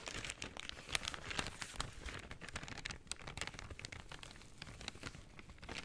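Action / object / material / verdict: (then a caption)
scrape / brown kraft paper shopping bag / paper / none. A brown kraft paper shopping bag is folded and crinkled in the hands while fingernails rub across the paper. It makes a steady, quiet stream of dense, bright crackles and dry rustling, with sharper crisp snaps rising out of the texture.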